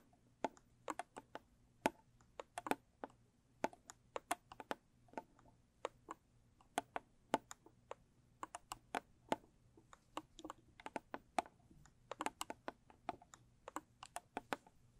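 Long pointed acrylic nails tap rapidly on the lid and side of a small square blue textured cardboard gift box. Dozens of sharp, dry clicks come in quick, uneven bursts, each with a hollow mid-range knock and a bright tip that dies away almost instantly. A faint low hum sits underneath.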